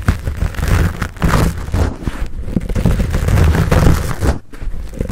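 Palms cup and squeeze a fuzzy black foam windscreen on a Blue Yeti microphone while fingertips scratch it. The result is a dense, muffled, bass-heavy rumble with soft crackling scrapes running almost continuously, with a brief dip near the end.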